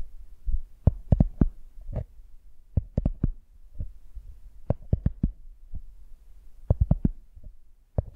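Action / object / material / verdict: tap / cork coaster / cork / none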